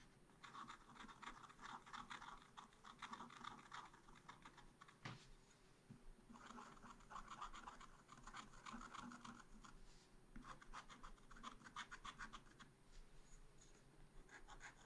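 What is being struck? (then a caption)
Scratch art paper card scratched with a wooden stylus. A pointed wooden stylus held in the fingers scratches the black coating off a small, flat, solid scratch art sheet in a spiral pad. It makes quiet, dry, papery scratching in rapid bursts of short strokes, focused in the mids with a bright edge. The bursts are separated by brief pauses, with a single sharper tick about midway through.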